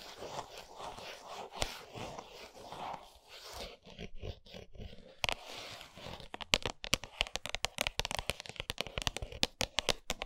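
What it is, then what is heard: Cardboard chocolate box. Long nails scratch and tap a flat 100 g Lindt milk chocolate cardboard box with the bar still inside, lying on a towel. The first six seconds are a bright, crinkly scratching and crunching, with one sharp tap near the middle. Then come quick, dry, crisp taps that stop almost instantly.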